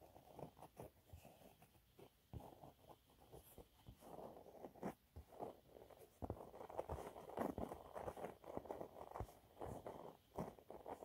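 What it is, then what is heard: Cellulose sponge cloth. Fingernails scratch a thin, flat, yellow textured cellulose sponge cloth. The result is quiet, irregular bursts of dry scratching and crackling, with a soft, muffled, mid-low tone and brief pauses between strokes.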